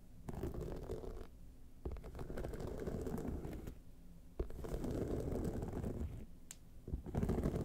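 Long painted nails scratch across the rhinestone-covered surface of a small hollow clutch bag lying on its side. The result is a dense, low, rumbling scrape broken by a few sharp clicks and brief pauses between passes.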